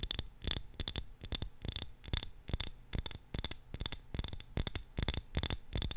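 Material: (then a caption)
Glass. A small glass jar filled with purple candle wax is held in both hands close to the mic and tapped and scratched with long nails. Quick, irregular taps give short glassy clicks with a faint ring near 3.5 kHz and a soft low thump, mixed with light scratching between them.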